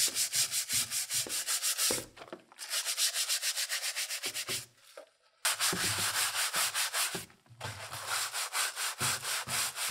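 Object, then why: ABS plastic console top shell scrubbed with a bristle brush in soapy water. A gloved hand scrubs the yellowed, hollow ABS plastic top shell of a Super Nintendo console case, held in a tub of soapy water, with a handheld pink-bristled plastic brush. Rapid, bright, scratchy bristle strokes come in steady back-and-forth bursts, with short pauses near 2.5 and 7.3 seconds and a longer quiet gap around 4.5 to 5.4 seconds.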